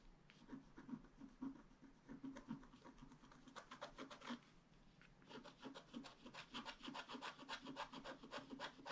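A wooden stylus scratches the coating of a flat black-coated scratch-art card along the branch. It makes quick, dry, rasping strokes in an uneven rhythm, with a brief lull midway before denser, brighter scratching resumes.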